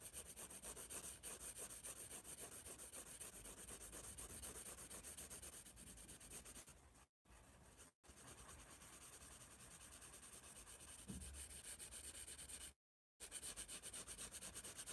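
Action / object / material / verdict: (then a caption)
scrape / graphite pencil on sketchbook paper / paper / none. A graphite pencil rubs dense back-and-forth shading onto the page of a spiral paper sketchbook. The result is a steady, scratchy rubbing with a bright hiss, at about four strokes per second. Brief silences break it around 7 s, 8 s and 13 s.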